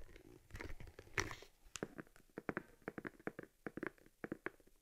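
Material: Leather.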